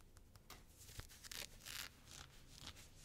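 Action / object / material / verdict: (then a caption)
scrape / cotton fleece sweatshirt cuff / cotton fleece / none. Long blue-painted fingernails scratch and rub the soft, thick cuff of a teal knit cotton fleece sweatshirt sleeve while it is being worn. The result is a quiet run of irregular, bright, airy scratching bursts with a faint low rustle underneath, and a sharp little tick near the one-second mark.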